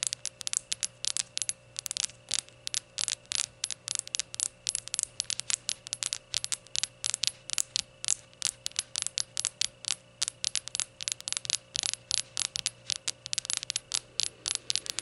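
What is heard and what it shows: Long gold nails tap rapidly and unevenly on the glossy surface of a small glazed ceramic rainbow shot glass standing upright on a towel. Each tap is a short, bright click that dies away almost at once, over a faint steady hum.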